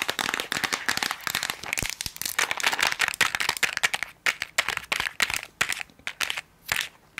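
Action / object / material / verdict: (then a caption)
tap / small plastic tablet container with tablets inside / plastic / none. Long acrylic nails quickly tap and scratch a small rectangular Bullrich tablet container, with a white plastic body and a blue plastic lid, hollow with tablets inside. A rapid stream of sharp, bright plastic clicks and dry scratchy rasps is heard, thinning into shorter bursts with brief pauses toward the end.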